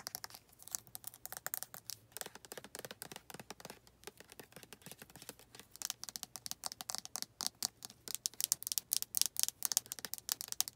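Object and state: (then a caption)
Plastic lotion bottle. Long red nails tap and scratch the body of a white plastic lotion bottle near its white flip cap and black collar. A fast, uneven stream of dry, bright clicks and scratchy rasps, with almost no low end and no ring after each hit. The tapping gets louder and denser toward the end.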